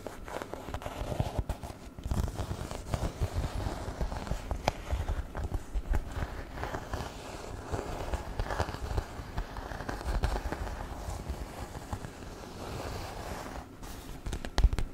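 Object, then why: Faux-leather handbag. A small black shoulder bag in crocodile-embossed faux leather, hollow and soft, is held in hand and tapped and scratched with fingertips and nails. Dense, dull low thumps mix with continuous crackly scratching, each tap dying away almost instantly.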